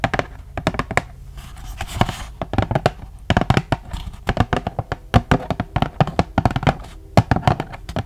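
Long acrylic nails tap and scratch a flat, thin cardboard and paper face mask pack from The Crème Shop, held up close. Dozens of quick, dull, low tapping thuds come in uneven bursts, broken by brief soft scratching passes across the packaging.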